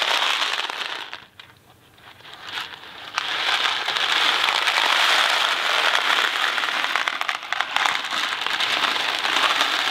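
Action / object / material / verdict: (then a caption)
shake / cardboard box of dry macaroni / cardboard, pasta / none. A Kraft macaroni & cheese cardboard box full of dry pasta is held in the fingers, flipped and shaken, and the pasta rattles in a dense, bright crackle with almost no low end. The rattle briefly drops nearly silent early on, then returns in a steady, continuous stream of rapid rattling for the rest of the clip.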